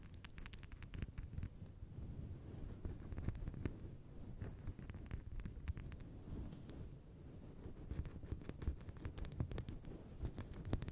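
A fist-sized, fluffy grey-white synthetic fur windscreen on a microphone is scratched and rubbed with long blue nails by both hands. Continuous low, muffled rustling and scrubbing fills the clip, broken by many brief, dry scratch clicks that flick up into the highs.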